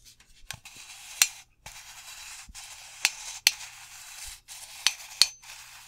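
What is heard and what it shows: Fingertips and nails lightly scratch and rub the body of a hollow metal aerosol deodorant can held in both hands. The result is a soft, bright, hissing scratch broken by six sharp, high ticks from light taps that die away almost at once.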